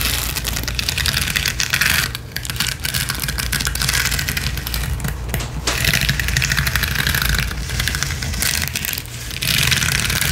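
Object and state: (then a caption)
Rhinestone mesh sheet. Long acrylic nails scratch fast and hard across a flat, gold, roughly A5-sized rhinestone mesh sheet of small plastic/metal gems on a mesh backing, lying on a spiky balance cushion. The result is a dense, continuous, bright crackling rasp over a steady low rumble, easing briefly three times before picking up again.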